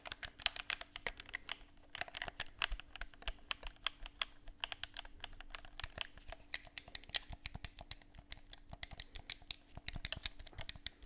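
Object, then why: Plastic game controller. A hollow black plastic game controller is held in both hands while its buttons are pressed and its surface is tapped with fingertips. Around 55 quick, dry, bright clicks and taps come in an irregular rapid stream and die away instantly. A faint steady low hum sits underneath.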